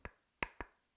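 Three short, dry taps on a small plain white wooden box, each a quick knock with a bright tone around 2 kHz that dies away almost at once. The box gives the hollow, ordinary sound of wood.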